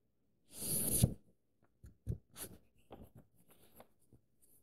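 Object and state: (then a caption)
Paper book pages being scratched and traced. Fingertips and nails trace and scratch across the thin printed paper pages of an open paperback book and lift the page edges. A loud, bright papery rustle comes first, followed by several quieter, short scratching and tapping sounds with low thuds.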